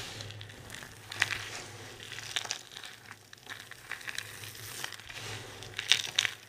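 A large pile of dry, multicolored soap shavings is crushed and rubbed with both hands. The result is a steady, bright, crunchy crinkling and crackling, with sharper crunches near the start and again toward the end, over a faint low hum.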